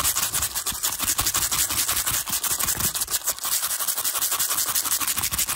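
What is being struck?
Stack of small plastic cases.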